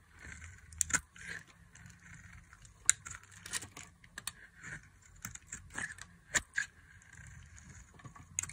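A solid, translucent green glycerin soap bar held in the hand is carved into long strips with a metal blade. The result is a series of crisp, bright scraping and cutting sounds with sharp, dry clicks and brief high hisses over a quiet low background.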